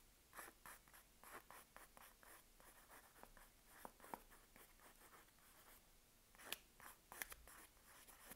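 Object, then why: Paper-wrapped soap bar. A sealed Palmolive soap bar in its paper wrapper is held in hand while long nails steadily scratch the paper over the solid bar. The result is a quiet, dry, papery scratching in short, bright strokes, with a few sharper, louder scrapes near the end.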